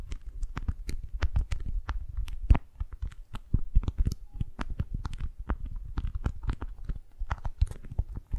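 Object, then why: Rolled beeswax-coated cotton wrap. A rolled tube of beeswax-coated cotton food wrap is held in both hands while long nails and fingertips grip, squeeze and rub it. The result is a steady stream of irregular crinkling crackles and sharp, bright snaps over a soft low rumble.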